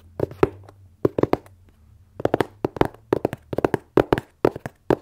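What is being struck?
Corrugated cardboard box.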